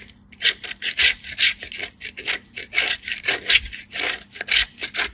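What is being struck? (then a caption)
Bar soap on a steel hand grater. A white, hand-sized solid bar of soap held in a hand with blue-painted nails is rubbed back and forth across a small stainless steel hand grater. The result is a quick series of bright, dry rasping scrapes, each short and breathy, with a steady faint low hum underneath. Fine soap shavings pile up on a green surface below.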